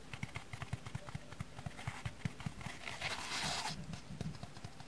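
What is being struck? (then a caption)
Dry foam kitchen sponge with abrasive scouring face. A small, dry orange foam kitchen sponge with a black abrasive scouring-pad face is held in one hand and tapped with the fingertips and long nails on the scouring side, while a second sponge lies untouched on a wooden table. About 18 quick, dull, low taps are heard, and a brief, louder scratchy hiss rises around the middle of the clip.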